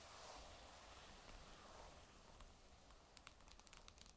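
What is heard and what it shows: Long nail tips tap the magnesium metal back of a grey Surface tablet lying face down, with an added echo effect. A soft, airy rustle with a low rumble underneath gives way to a quick, uneven run of bright, sharp clicking taps in the last second.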